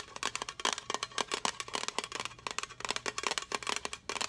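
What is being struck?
Small metal tin.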